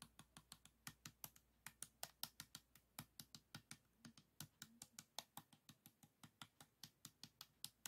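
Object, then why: Plastic 3x3 puzzle cube. Fingertips turn and flick the layers of a small, solid, stickerless plastic 3x3 Rubik's cube with a yellow face in view. They make a fast, steady run of about 41 sharp, bright clicks over roughly eight seconds. Each click dies away almost instantly, over a faint low background hum.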